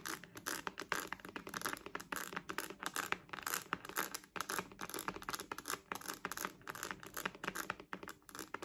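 Long nails tap and scratch across the front of a purple, glossy, croc-embossed patent faux-leather wallet with a metal logo. The result is a steady stream of quick, dry, bright scratches and clicks with almost no low end. Each sound dies away instantly.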